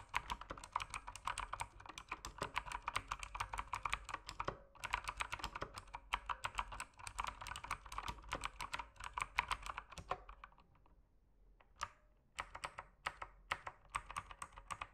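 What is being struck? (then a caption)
Mechanical keyboard with plastic keycaps. Fingertips type on the plastic keycaps of an RGB mechanical keyboard, producing rapid, crisp clicky keystrokes with a bright, sharp attack and almost no ring. The typing runs in fast bursts with brief pauses, goes nearly silent for about a second around the 11-second mark, then resumes in sparser clicks.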